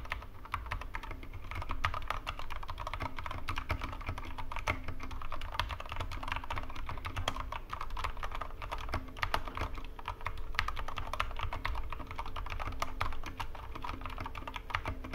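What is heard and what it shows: Both hands type with their fingertips on a Corsair K65 Mini 60% mechanical keyboard with plastic keycaps and Cherry MX Red switches. The small, hollow keyboard rests on a wooden desk. The result is a steady stream of quick, dense keystrokes, too fast to count, with a deep, thocky low body, short clicky attacks and very little ring.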